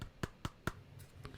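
The plastic body of a Mavic Mini drone is tapped, giving three sharp, short, low-pitched knocks followed by fainter ones. The body sounds hollow and light, as if there is a lot of air and space inside, and less solid than a Mavic Air or Spark, though its parts click tightly into place.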